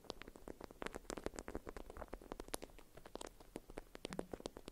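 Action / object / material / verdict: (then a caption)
tap / beeswax-coated cotton food wrap / waxed cotton / none. A printed beeswax-coated cotton food wrap, folded around a small bar-shaped item and held in both hands, is scratched and tapped with long white acrylic nails. Quick, dry clicks and papery crinkles follow one another in an irregular, dense patter, each tap dying away almost instantly. The result is a quiet, close, crackly texture with bright ticks over a soft low-mid body.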